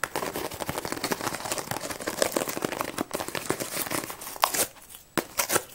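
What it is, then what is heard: Cardboard box tapped and scratched. A closed, hollow cardboard tea box is held in the hands and tapped and scratched quickly with long nails on its flat sides. The result is a dense, rapid stream of short, dry clicks and scratchy crinkling, centered in the midrange with a bright, hissy top and almost no low end. Near the end it briefly quiets before a few sharper, separate taps.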